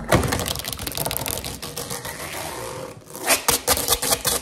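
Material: Rubber.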